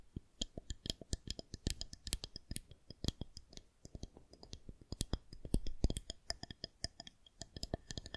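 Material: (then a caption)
Plastic. Long nails tap and click along a long, smooth, solid white plastic rolling pin or fondant roller. The result is a quick, irregular run of short, dry clicks, each with a soft low thump and a bright tick, and almost no ring between taps.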